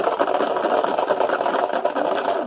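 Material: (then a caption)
Pebbles. A closed box with small pebbles inside, its lid shut or taped, is shaken back and forth, producing a steady, dense rattling of pebbles knocking inside for the whole clip. The sound is mid-pitched and grainy with almost no low end, and it differs from the sound of rice in a bottle or of pebbles or water in plastic pots.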